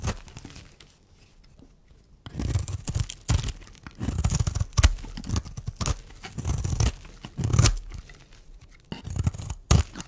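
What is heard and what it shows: A metal blade shaves curls off the face of a solid, dry, round pink striped bar of soap held in the hand. After a quiet start, bursts of dry, crisp scraping and crunchy tearing follow one another with short pauses between strokes.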